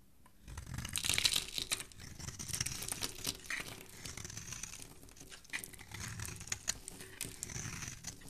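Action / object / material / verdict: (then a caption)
scrape / bar of soap / soap / none. A metal blade is scraped across a solid, rectangular, palm-sized bar of green soap held in fingers with long dark-painted nails, shaving off flakes. The scraping makes a steady run of crisp, bright crackling and crunching with a soft low rumble underneath, swelling loudest near the start and continuing in dense, uneven strokes.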